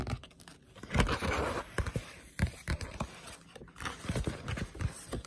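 A Berserk paperback manga, a solid paper book with a glossy cover held in the hands, is tapped and scratched with long pointed nails. Quick, irregular taps give short, dull, low thuds. Around the first second, a longer stretch of dry, papery scratching rises over them.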